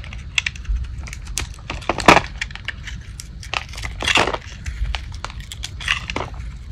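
A solid, light-blue Old Spice dry bar soap, held in the palm, is shaved with a metal blade into curled, crunchy strips. The clip is a steady run of short, dry, crisp crackles and scrapes with bright, hissy bursts, several louder crunchy strokes, and a faint low rumble underneath. Each sound dies away almost instantly.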